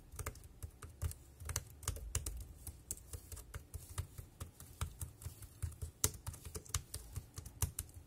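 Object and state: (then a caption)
Plastic keyboard being typed on. Fingertips tap the round keys of a dark grey plastic wireless keyboard with a hollow body in continuous typing, giving about 22 quick keystrokes over eight seconds. Each press is a short, sharp, bright click over a soft low thud that dies away almost at once, with an uneven rhythm and a quiet background between strokes.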